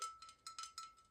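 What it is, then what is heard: Ceramic ornament. A ceramic gingerbread house decoration is tapped several times, each tap giving a hard, bell-like knock. A clear ring holds around 1.3 kHz and fades quickly between taps.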